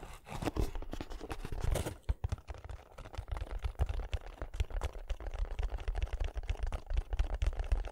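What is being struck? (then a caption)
Small cardboard box. Fingertips tap and scratch the surfaces of a small, closed, hollow kraft cardboard box held in both hands close to the microphone. Dull, low, hollow thumps come in quick, uneven bursts, mixed with dry scratching and faint crinkling. Each tap dies away almost at once.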